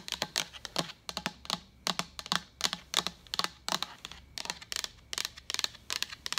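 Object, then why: Hollow plastic pitcher. A hand-sized, hollow, apparently empty translucent white plastic water pitcher with a pink lid and handle is held, then tapped and scratched with long pointed acrylic nails. About thirty quick, bright, dry clicks come in uneven bursts, with soft scratchy texture between them, little low end, and almost no ring after each tap.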